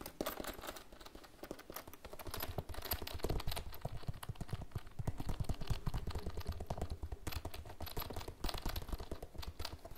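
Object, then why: Plastic pencil case. Fingernails tap rapidly on a hollow, iridescent holographic PVC pencil case that is held and tilted. The result is a dense, uneven stream of short, dry clicks with a soft, low, hollow thump beneath them. Each tap dies away almost at once, with quieter brushing between the bursts.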